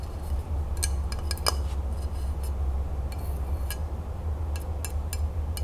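A flat rectangular glass tray with a printed crown design, held upright in the hands, is tapped and scratched across its surface with long acrylic nails. Light, bright clicks and short scratches ring briefly over a steady low hum.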